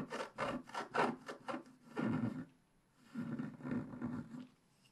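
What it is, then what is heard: Scratch-art paper being scratched. A black-coated scratch-art paper page is held flat by hand while a wooden stick scratches across its coating. About ten short, dry, raspy strokes come in quick bursts, with a brief pause in the middle before the scratching resumes.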